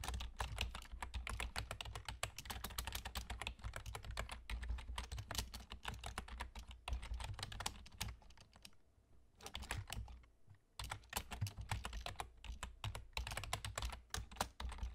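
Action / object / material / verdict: tap / plastic computer keyboard / plastic / none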